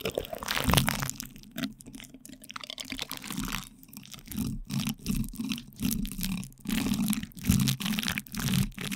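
Two light-blue plastic spoons press and scrape from both sides on plastic cling film wrapped over a microphone's metal mesh grille. The result is close, crinkly crunching and rustling in uneven bursts, with a heavy low rumbling thump beneath and brighter crackle above.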